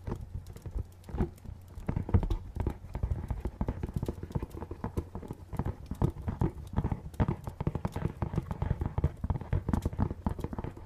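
A small, dark, printed hollow cardboard box is held in both hands and tapped with the fingernails. The result is a rapid, uneven stream of dull, hollow clicks and knocks, heavy in the low end with almost no ring.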